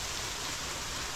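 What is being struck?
Nothing is struck.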